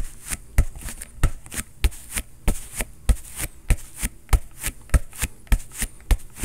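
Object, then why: Inflated synthetic leather soccer ball. An inflated, hollow synthetic leather soccer ball is held and pounded by a bare fist in quick knocks. The clip has 15 short, dull thumps with a deep low body and a faint bright high edge, coming in a somewhat uneven rhythm. Each knock dies away almost instantly.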